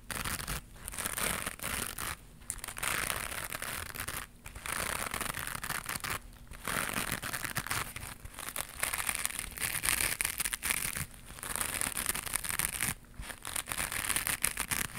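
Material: Nylon mesh.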